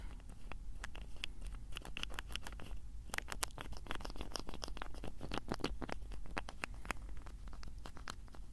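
Fingertips twist and tap the cap of a small blue plastic bottle close to the microphone. The result is a dense run of quick, dry clicks and ticks with faint scratchy friction over a low, steady hum. No single tap rings on.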